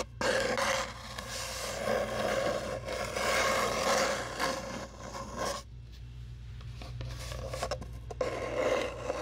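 Long nails rub and scratch along a long, hollow brown cardboard tube, making a dense, raspy scraping with a hollow resonant tone around 500 Hz and bright hiss above it. A steady low hum runs underneath, and the scratching drops to a quieter, sparser stretch in the middle before building back up.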